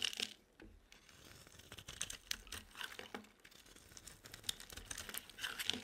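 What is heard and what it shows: A utility-knife blade carves thin curls off the edge of an oval, solid, purple bar of dry soap held in the hand. Quiet, dry, bright scraping and crackling come in a fast run of short crisp ticks and flakes, with almost no low end and no ring after each cut.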